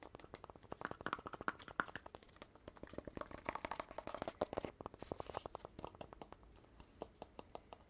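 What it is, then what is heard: Cardboard poster tube. Fingertips and nails tap and rub on a hollow, empty-looking red cardboard poster tube, apparently paper-covered, and on its telescoping joint with gold rim bands. Dozens of quick, dry, hollow taps come in uneven bursts, each with a short midrange knock that dies away almost at once. Softer scratchy rubbing and crinkling fill the gaps between taps.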